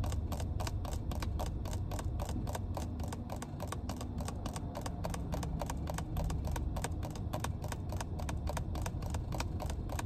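Long red nails rapidly tap and scratch the white plastic cap of a small, clear plastic water bottle full of water. The result is a fast, steady stream of light, crisp clicks with bright edges, over a constant low rumble.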